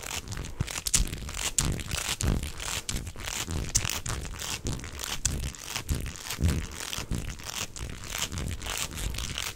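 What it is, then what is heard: Plastic corrugated tube. A beige hollow corrugated plastic tube, bent into a hook shape, is flexed and twisted by both hands while the fingers rub its ribbed surface. The result is a steady, dense stream of crinkly, crackling ridges over soft low thumps, with a bright, hissy high edge that swells and dips as the tube bends.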